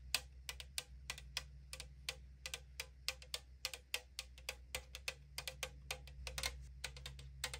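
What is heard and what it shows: Long acrylic nails tap and scratch the side wall of a tall 500 ml aluminum drink can lying on a table. The result is a rapid run of 34 short, bright, hollow thin-metal clicks with almost no ring, with faint scratching and a low steady hum underneath.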